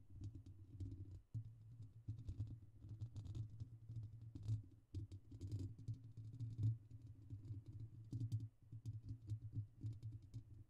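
Fingertips and short nails tap and scratch directly on the rounded, hollow wire-mesh grille of a large condenser USB microphone with a silver metal body. Dense, rapid taps come through as deep, boomy thumps centered low with a short ring, mixed with faint, brief bright scratchy ticks. The tapping runs continuously with small pauses, swelling louder at moments.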